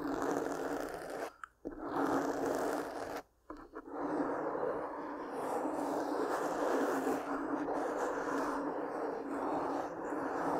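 Long pink-painted nails scratch a soft black foam windscreen over a large microphone, making a continuous, dense, rough scratching. The sound sits in the low-mid to mid range with almost no high end, and it pauses briefly twice before running steadily to the end.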